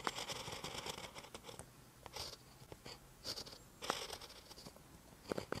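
A ballpoint pen tip writes on a lined paper notebook page, making quiet, bright scratching strokes. Short bursts of scraping come in quick runs with brief pauses between them.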